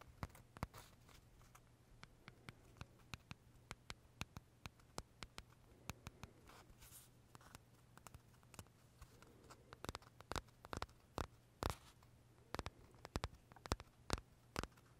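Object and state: Macaron tapped with fingernails.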